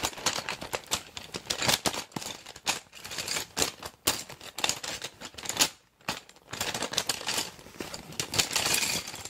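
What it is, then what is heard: Clear PVC pencil case full of pens. A small clear PVC zip pencil case, packed full of plastic pens, pencils and markers, is held, squeezed and shaken in a hand with long dark nails. The pens shift and rattle inside in a dense stream of bright, crisp clicks and crinkles, with brief pauses between bursts.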